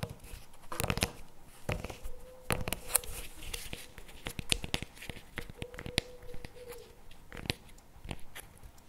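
A CremaNovi paperboard chocolate spread tub with a plastic lid sits on a table and is then lifted while fingertips tap and scratch its lid and sides. Sharp, dry taps with bright clicky tops are scattered between soft scratching and crinkly rustles, with a faint steady tone near 500 Hz at times. Each tap dies away almost instantly.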